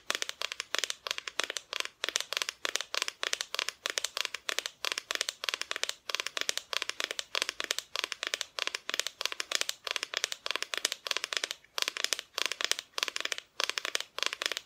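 Long nails tap quickly on a painted wooden Christmas decoration, a flat, thin, solid plywood cut-out with a painted front. The result is a dense, steady stream of crisp, bright clicks in rapid bursts, each dying away almost instantly, with almost no low end.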